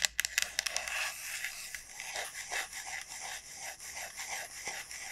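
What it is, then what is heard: Dried bottle gourd. Long nails tap and scratch the hard, hollow shell of a large, elongated dried bottle gourd. A quick burst of sharp, bright clicks opens the clip, then gives way to a steady, dry scratching and rasping that stays high and thin with almost no low end.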